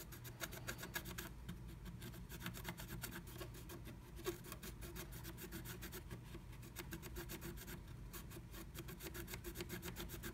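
A wooden stylus scratches a black-coated scratch art card held under a blue stencil by fingertips, tracing the letters V and E. Quick, dry scraping strokes repeat steadily for about ten seconds, each one a short bright rasp over a soft, low background hum.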